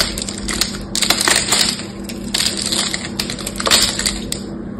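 A knife carves and flakes pieces off a solid green bar of soap with a gold patterned metallic coating, held in the hands. Crisp, bright crunching and crackling scrapes come in rapid bursts over a faint steady low hum.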